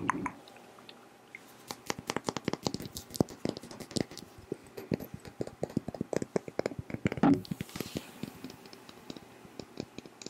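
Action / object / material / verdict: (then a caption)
tap / thick glass perfume bottle with faceted cap / glass / none. Fingertips and nails tap and scratch along the faces and large faceted crystal-style cap of a Versace Yellow Diamond perfume bottle, a thick, hand-sized faceted glass bottle partly filled with yellow liquid. Rapid, dry clicks and taps follow one another almost continuously, with short scratchy passages and brief bright glassy ticks over a quiet background.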